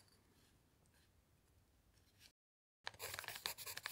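A pencil writes on a paper notepad made of a thick stack of lined sheets, while the other hand's fingertip rests still on a dictionary page. Faint, soft scratching gives way to a brief silence, then louder, bright, bursty pencil strokes scratch across the paper.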